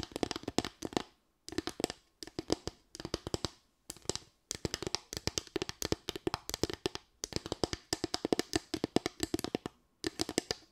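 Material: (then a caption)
Bamboo. Long white nails tap and scratch across a small, light bamboo board with raised slats. Rapid bursts of sharp, dry clicks with a bright edge come in quick clusters, separated by brief silences. Each click dies away almost instantly.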